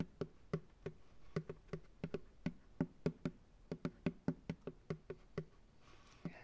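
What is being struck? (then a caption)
Plastic ice cream pail. Fingertips tap on the bottom of an empty, hollow white plastic ice cream pail resting upside down on a lap. About 22 quick, hollow taps land in an uneven rhythm, each a dull low thump centred near 170 Hz that dies away almost instantly. A quiet pause follows near the end before a final tap.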